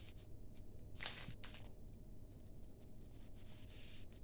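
Bare hands squeeze and crumble a heap of crumbly grey, damp sand-cement mix in a steel bowl. Soft, gritty crunches and bright, sandy hisses come in short bursts over a steady low rumble, with the loudest squeeze near the one-second mark.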